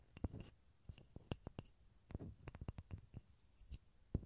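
A small solid pine wood block is held near a stereo recorder and tapped and scratched with fingertips and nails. Quiet, dry, low knocks with very short decay are interspersed with soft, scratchy brushing sounds, with some taps carrying faint bright clicks.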